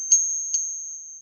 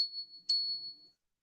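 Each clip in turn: First: copper piece with a whining ping. Second: genuine silver coin, rings like a chime.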